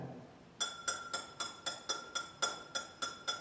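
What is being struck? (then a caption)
Drinking glass. A glass is tapped in a castle's old kitchen to invite a spirit to repeat the taps. Eleven quick, bright clinks ring out at a steady pace, each with a clear tone around 1.4 kHz and high overtones that fade in a fraction of a second.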